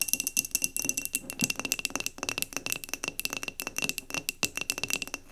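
Long nails tap rapidly around the upper glass of a clear glass mason jar candle, partly filled with cream wax and standing on a table. The result is a dense run of sharp, bright clicks with a steady high glassy ring and very little low end.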